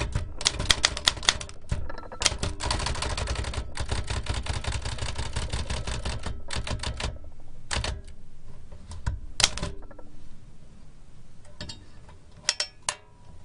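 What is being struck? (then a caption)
Metal manual typewriter. Fingertips type on the round keys of a large black metal L.C. Smith & Corona antique typewriter with a hollow mechanical body and paper loaded. Quick, bright, crisp clacks with a hollow low thump underneath run in a dense stream through the middle of the clip, then break into short pauses and scattered taps. Near the end come a couple of sharper, louder strikes.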